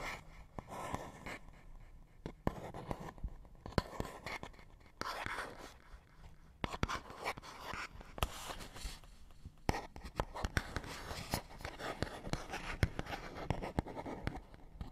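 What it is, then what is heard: Cardboard box, scratched and tapped. Fingernails scratch and tap on a small, hollow, printed paperboard box. Quiet, dry scratching rasps come in bursts, broken by short, sharp taps that click brightly and give a faint hollow knock underneath. Each tap dies away almost at once.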